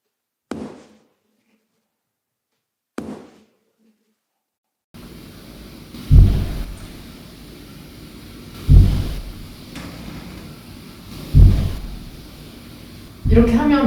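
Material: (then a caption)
Concrete. A rubber ball is dropped on the floor of a typical apartment unit, and from the floor below each impact comes through as a loud, low, rumbling thud dominated by deep bass. Five impacts are heard: two short thuds in near silence, then three heavier booming thuds over a steady low background rumble. The standard concrete floor slab lets heavy impact noise through to the home downstairs.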